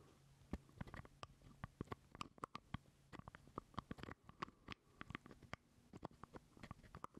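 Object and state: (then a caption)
Plastic jar lid, hollow. A small, hollow purple plastic jar lid is held close to the mic while fingernails scratch and tap on it. The result is a quick, uneven run of dozens of sharp, dry clicks and taps over soft scratching, each hit dying away almost instantly.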